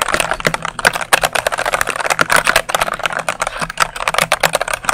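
A dark plastic mechanical keyboard is held upright by the mic while fingertips and nails rapidly press and tap its keycaps. The result is a fast, dense stream of sharp, bright plastic clicks and clacks with very short decay and almost no low end.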